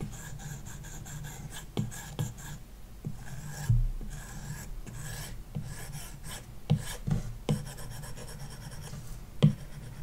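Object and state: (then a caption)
Stylus rubbing on a matte screen protector over a glass tablet. A plastic stylus tip rubs back and forth across a large iPad glass touchscreen fitted with a matte screen protector, shading in a shape. It makes a continuous low rasping scratch broken by a few sharper taps of the tip.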